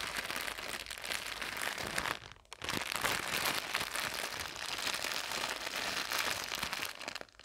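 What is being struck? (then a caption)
Soft plastic bag of cotton pads. A soft, clear plastic bag filled with white cotton pads is held over a laptop and squeezed and crumpled with fingertips and painted nails. It makes a steady, bright crinkling that drops to a brief lull at about 2.5 seconds, then resumes and fades slightly at the very end.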